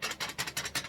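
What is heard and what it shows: A fiberglass bowfishing arrow shaft rolls down a panel, making a rhythmic, bright scratchy tick each time it turns over instead of a smooth roll. The uneven ticking marks the shaft as bent, even worse than an earlier bad shaft that was already thrown out.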